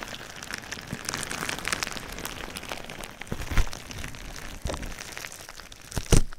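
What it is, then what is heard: Plastic bubble wrap. Fingertips and nails tap and scratch clear plastic bubble wrap wrapped around a binaural microphone, producing a steady, close-up patter of soft crinkles, ticks and scratchy rustles. A few sharper, louder crackling taps stand out near the middle and again near the end.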